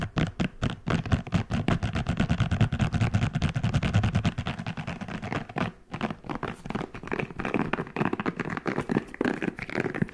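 Fingertips scratch and rub the soft spiky bristles of a hand-sized red silicone scalp massager brush in fast, irregular strokes. The result is a dense, low-heavy scratching and rubbing texture with a short lull just before six seconds, after which the rubbing turns slightly brighter.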